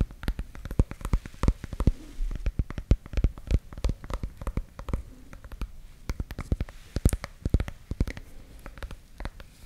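Long nails scratch and tap the bumpy rind of a small, solid, yellow warty ornamental gourd held in the hand. The result is a rapid, irregular stream of dry, sharp clicks and taps that die away instantly, with soft scratching between them.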